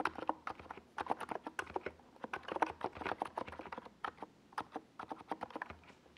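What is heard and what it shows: Fingertips of both hands type on a NiZ Plum Atom 68, a compact 68-key mechanical keyboard with a hollow white plastic case and purple and yellow plastic Domikey Gas Attack SA keycaps, resting on a desk pad. A steady run of quick, short, clacky keystrokes rings out, centered in the mids with little low end and crisp, instantly decaying clicks.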